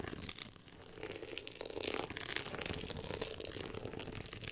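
Long acrylic nails scratch the ribbed, woven-texture cover of a hardcover book. The result is a steady, dense, bright scratching and crackling with quick, dry strokes and no ring-out. It swells a little louder after the first two seconds.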